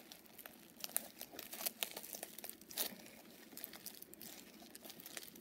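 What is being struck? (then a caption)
Sequined fabric coin purse. Long purple nails scratch and rub the flip sequins on a small, soft, padded pink fox-face coin purse made of sequined fabric, flipping them back and forth. The result is a quiet, bright, crinkly scratching texture, dotted with rapid, sharp little clicks and rustles that stop almost instantly.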